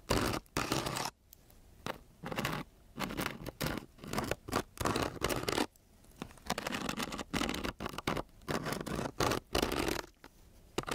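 A metal key with a green head is dragged across a flat sheet of coarse-grit, paper-backed sandpaper lying on a solid table. It makes repeated rough, gritty scratching strokes, each a short broadband rasp separated by brief quiet gaps. Some strokes are quick and some are longer, smoother drags.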